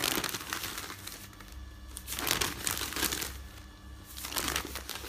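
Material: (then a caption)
Paper. Fingertips with dark nail polish flip, rub and smooth the pages of a folded stack of thin printed newsprint resting on a bed. Soft, bright crinkling and rustling rise and fade in slow waves, over a faint steady low hum.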